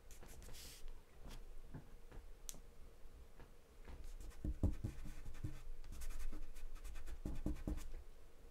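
A wooden pencil held in the fingers scribbles and scratches across a large sheet of white drawing paper taped flat on a dark surface and partly covered in charcoal or graphite. Soft, dry scratching strokes come in an irregular, steady stream, with brief brighter flicks among quiet, low-weighted rubbing.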